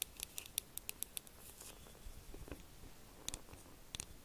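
A hollow, pink, glossy plastic fox-shaped figure is held in one hand and tapped with the long acrylic nails of the other hand. Quick, sharp, bright clicks come in an uneven series over a soft, faint background. Each tap dies away almost instantly.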